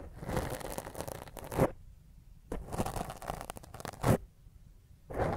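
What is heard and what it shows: Fingernails scratch a black foam microphone windscreen with a hand held over the top. The close, rough scratching is heavy in the low end and comes in bursts of rapid strokes, each ending in a louder scrape, with near-silent pauses between them.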